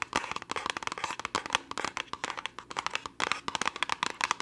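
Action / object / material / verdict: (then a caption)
tap / small cardboard box / cardboard / none. Long nails tap fast and hard on a small, hollow orange cardboard test-kit box. The result is a dense run of sharp, dry clicks with a hollow papery knock around 1.2 kHz and bright upper edges. The clicks stop almost instantly, and there is almost no low end.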